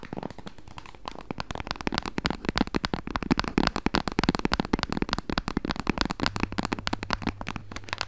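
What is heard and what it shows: Long acrylic nails tap and scratch quickly across the back and edges of a small, solid pink plastic protective case with a kickstand on a Nintendo Switch Lite. The result is a dense run of short, dry, crisp clicks and scratchy ticks that die away instantly. Throughout, a faint steady low hum sits beneath them.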